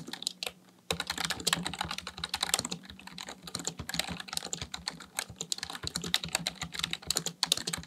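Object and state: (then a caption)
Plastic computer keyboard being typed on. Fingertips type continuously on a full-size black plastic computer keyboard, producing rapid, bright plastic key clicks and clacks. After a brief pause near the start, the tapping runs steadily with short, dry hits that stop almost instantly.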